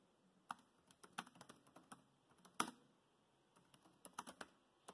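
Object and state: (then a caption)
Plastic laptop keyboard typing. Fingertips of both hands type continuously on the black plastic chiclet keys of a grey laptop keyboard. The result is a quiet, uneven run of short, sharp plastic clicks that die away almost instantly, with a brief pause in the middle and a bright, crisp top end.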